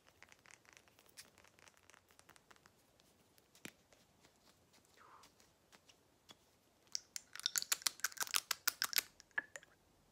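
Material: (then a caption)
Glass. Long nails tap a small frosted glass skincare dropper bottle with a white cap and label, holding liquid, striking both the bottle and the cap. Sparse, light clicks and faint scratches give way to a dense burst of sharp, bright taps in the last few seconds.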